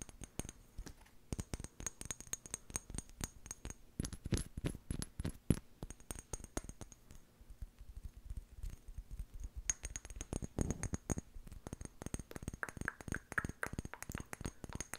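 A small amber glass jar with a white plastic lid is held in the hands and tapped and scratched with long painted nails. The result is a rapid, dense run of short, dry clicks with a dull low body and very little ring, mixed with faint high scratchy rasps.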